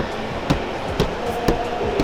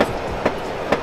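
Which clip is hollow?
The second.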